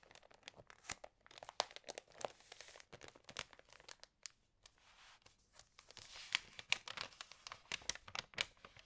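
Long nails and fingertips turn the glossy pages of an Allerhande paper magazine and rub them flat. Crisp, bright crinkling and rustling comes in quick bursts of dry, short-lived snaps, with a brief lull about halfway through before the page handling resumes.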